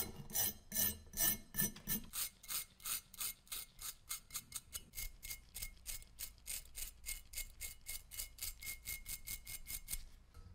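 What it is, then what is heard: Rusted metal dagger being scraped. Rust is scraped off a solid rusted metal dagger with an openwork handle, held in gloved hands, using a metal pick and a yellow-handled scraper tool. About 35 quick, bright, gritty scratching strokes repeat in a steady rhythm. The first few are heavier with a low rumble, and the rest are lighter and faster.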